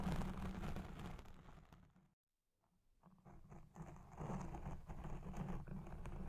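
Long red nails scratch the side of a black foam windscreen on a Blue Yeti Pro microphone that is recording, producing dense, muffled, low-heavy rustling and scraping. The scratching fades into near silence for about half a second, then resumes with steady, close rasping to the end.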